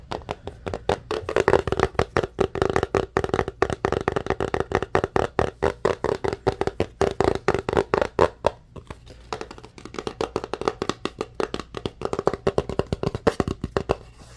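Fingertips and short nails rapidly tap and scratch the printed surface of a small white cardboard Samsung Galaxy phone box held in both hands. The dry, hollow clicks have a boxy mid-range tone around 400 Hz and die out almost instantly. They run in quick bursts, with a brief lull just before the ninth second.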